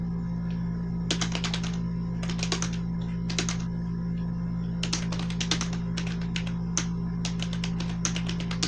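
A black plastic membrane gaming keyboard with blue accents, resting on a white sheet, is typed on steadily with the fingertips of both hands. Clusters of quick, bright, muted key taps come in bursts separated by short pauses, over a constant low hum.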